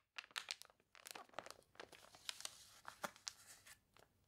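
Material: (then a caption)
Glossy paper. A page of a thick, glossy paper toy catalog with wavy, water-crinkled pages is turned and crumpled by hand, then long nails rub across the spread. The result is a quiet run of crisp, bright crinkles and crunchy rustles with sharp snaps that stop dead, with almost no low end.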